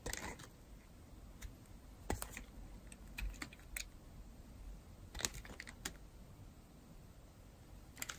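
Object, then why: Bar of soap scraped by a metal blade. A metal blade scrapes and carves the surface of a solid, dry, pink-and-white striped bar of soap. Short, crisp, bright scratching clicks come in scattered bursts over a low, quiet background, each one dying away instantly.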